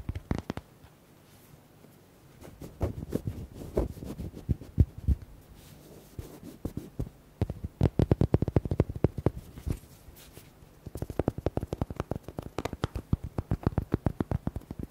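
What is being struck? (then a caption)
Hollow rubber duck toy. Fingertips and nails tap quickly on the body of a small red hollow rubber duck held in the hand. The sound is dull, short, low-heavy taps with no ring, coming in dense bursts separated by brief quieter pauses.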